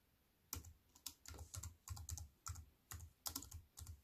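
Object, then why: Aluminium-framed keyboard with plastic keys. Fast fingertip typing with long nails on a wireless keyboard with an aluminium frame and black plastic keys. The keystrokes come in quick bursts of short, dry clicks, each with a low thump and a bright, crisp tick that stops almost at once.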